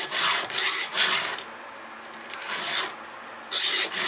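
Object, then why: Steel chainsaw chain under a round file. A gloved hand strokes a round steel file, held in a red guide, across the cutter of a solid steel chainsaw chain. About six bright, raspy filing scrapes come in two quick runs separated by short pauses. Each scrape is hissy and high with almost no low end.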